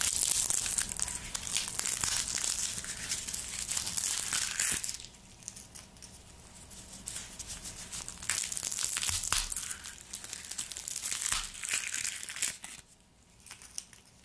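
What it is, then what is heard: Garlic bulb with papery skin being peeled. A whole white garlic bulb, solid and hand-sized, is held over a wooden board while fingertips in black nitrile gloves rub, squeeze and peel its dry papery skin. Dense, bright crinkling and crackling runs in loud bursts with sharp tearing snaps, easing into quieter rustles around the middle and again near the end.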